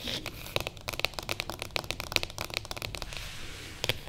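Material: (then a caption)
Cardboard. Long nails of both hands tap quickly on top of a closed, light-coloured printed cardboard box lying on a table. The result is a dense run of dry, bright clicky taps with a papery crinkle and almost no ring, ending in a short pause before a final pair of taps.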